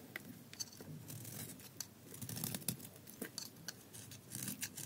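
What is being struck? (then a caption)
Bar of soap shaved with a metal blade. A solid gold-coated bar of dry soap is held in the hands and shaved with a metal utility blade, with the shavings falling onto the table. Short, dry scraping strokes come in quick succession, each a crisp, bright crackle over a soft low rustle, with little ring after each cut.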